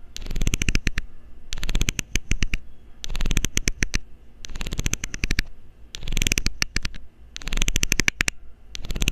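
A loose, hollow blue plastic screw cap has its ridged edge scraped with a metal needle in repeated short passes. Each pass is a rapid run of dry, bright ticking clicks with a low rumble beneath, separated by brief pauses.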